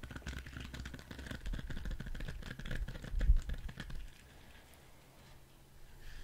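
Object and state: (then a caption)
Rubber spiky ball tapped and scratched. Fingertips and nails tap and scratch the spikes of a hand-sized orange spiky rubber squishy ball. A dense run of soft, quick clicks and scratchy rustles over a low rumble lasts about four seconds, peaking briefly near the end, then fades to near silence.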